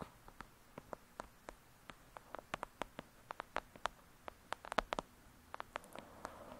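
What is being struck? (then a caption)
Paperback paper book. Long acrylic nails tap and scratch the cover of a thick, solid "Lady Midnight" paperback book. About 25 short, dry clicks land at an irregular pace over a soft scratchy hiss, each dying away almost at once with a mid-pitched, papery tone near 650 Hz and bright edges.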